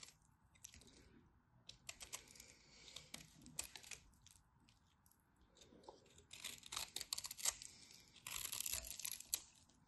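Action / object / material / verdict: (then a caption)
scrape / bar soap scraped with a knife / soap / none. A craft knife carves and scrapes crumbly flakes from a solid, dry white bar of soap. The result is quiet, bright, crisp scraping and crunching in irregular bursts with almost no low end. The cutting grows denser and louder in two longer stretches near the end.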